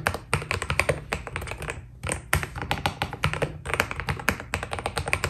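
A white full-size Keydous NJ80 mechanical keyboard, with a steel plate, foam dampening and PBT plastic keycaps, is typed on continuously with the fingertips of both hands. The key presses make a rapid stream of short, crisp taps with bright clicks and a soft low thud underneath. A brief lull comes around the two-second mark before the typing picks up again.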